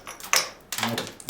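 Several quick, light taps on a blistered concrete coating over a field stone basement wall give a dull, hollow knock with bright, papery high-frequency clatter and almost no low end. The hollow sound shows the coating has delaminated and come loose from the stone, so it is being removed to let the wall breathe and dry out.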